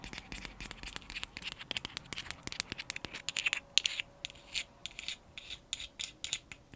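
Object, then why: Small frosted glass jar tapped and scratched with fingernails. Long acrylic nails tap and scratch a small round frosted glass cosmetic jar with a lid, held up close. Quick, dry, bright clicks and scratchy patter come in an uneven stream with almost no low end. A faint steady tone sits underneath for the second half.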